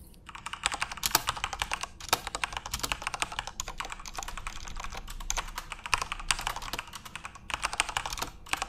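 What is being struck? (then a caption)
Plastic mechanical keyboard keys. Fingertips type rapidly on a full-size RGB-backlit Corsair mechanical keyboard with plastic keycaps. A dense stream of sharp, bright plastic clacks with very short decay runs through the whole clip, with a few brief lulls between bursts.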